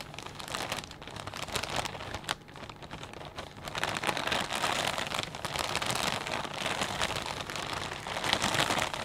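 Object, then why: Plastic bag of potato chips. Fingertips rub and squeeze a clear plastic bag full of potato chips, producing dense, bright crinkling and crackling. The crinkles start softer, then grow louder and busier from about four seconds on, continuing steadily to the end.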